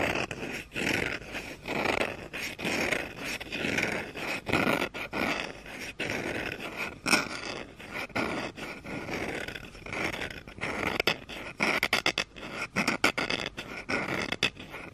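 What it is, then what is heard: Wooden spoon. A fingernail scratches along the handle and the back of a solid wooden spoon lying on carpet. The result is a series of dry, rasping scrapes with a bright, papery texture, arriving in uneven bursts separated by brief pauses.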